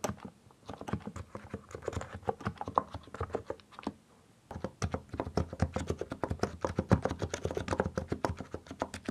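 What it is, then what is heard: Mechanical keyboard with plastic keycaps. Both hands type with their fingertips on a compact mechanical keyboard with plastic keycaps, producing a rapid run of short, dry keystrokes with a deep, rounded low thock and bright clicky edges. The typing stops for about a second in the middle, then resumes in a faster, denser burst.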